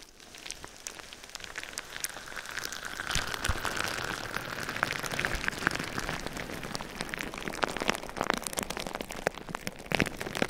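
Fingertips and nails tap and scratch clear plastic bubble wrap wrapped around a binaural microphone. Dense, crackly plastic crinkling and sharp, bright clicks patter like rain over a steady midrange hiss near 1.6 kHz. The sound swells in the first few seconds and then holds steady, with frequent louder snaps.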